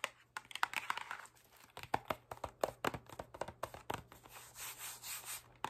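A medium printed cardboard Oreo cookie box, closed and likely full of cookies, is held up in one hand and tapped and scratched with long acrylic nails on its faces and sides. Quick dry clicking taps mix with crinkly scratching, and soft broader rubbing swells come in toward the end.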